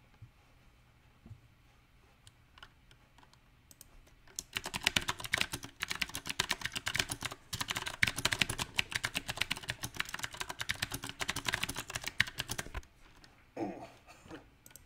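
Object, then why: Mechanical keyboard with round plastic keycaps. A small 68-key backlit mechanical keyboard with round typewriter-style plastic keycaps on a silver metal plate is typed on with fingertips, partly one-handed. After a few scattered clicks, a fast, uneven run of sharp, bright key clacks starts around four seconds and continues until near the end, with brief pauses. It closes with a few softer, lower taps.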